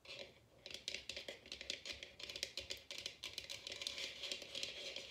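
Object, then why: Bamboo bowl. A large, empty, hollow bamboo wooden bowl sits open side up while long red nails tap and scratch its inside and rim. The result is a quick, dense run of light, bright clicks and dry scratching with almost no ring and very little low end.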